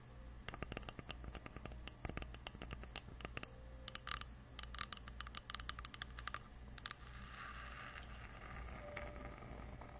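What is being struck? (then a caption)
Wooden log slice with bark. Long acrylic nails gently tap and scratch the cut face and bark edge of a solid round tree log slice, about 20 cm across, held in the hands. Quick, dry, close-up taps and bright scratchy bursts come in clusters over a steady low hum. They give way near the end to a softer, continuous scraping rustle.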